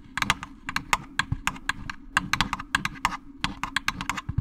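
Fingernails tap quickly on a jack-o'-lantern candy basket, producing a rapid, irregular run of about 23 short, dry clicks. Each click is bright, centered around 1.2 kHz, and dies away almost instantly, over a faint low rumble.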